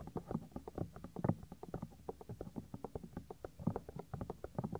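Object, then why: Soft silicone ear of a binaural microphone. Fingertips rub and squeeze the small, solid, white soft silicone ear of a 3Dio binaural microphone. The result is a quick, uneven run of soft, muffled low thumps and rubbing sounds. They are dull, with nothing bright, and each one dies away almost instantly.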